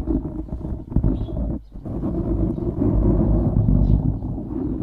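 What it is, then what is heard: Foam microphone windscreen being scratched. Fingertips and short nails of both hands scratch a soft, porous black foam windscreen on a microphone. The result is a dense, low, rumbling scratching and rustling, with rapid uneven strokes and a brief near-silent dip about midway before the scratching resumes steadily.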